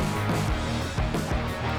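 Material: Nothing is struck.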